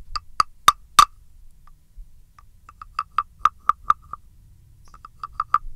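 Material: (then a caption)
Wood. A small, hollow, hand-carved wooden frog with a ridged back is held in one hand and scraped and tapped with a thin wooden stick. Four loud, sharp, hollow wooden knocks come first, each ringing with a bright pitched tone around 1.2 kHz. After a pause, a looser series of quieter clicks follows with short gaps, ending in a few final taps.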